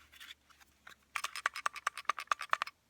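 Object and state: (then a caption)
Pistol striker rattling freely, channel clean. A Glock's steel slide is shaken after the trigger is pulled, and the striker rattles freely in its firing pin channel. Faint ticks give way to a rapid series of sharp, dry, bright clicks with almost no ring. The free rattle shows the channel is clean and dry, not gummed up with oil, which is the normal, desired result.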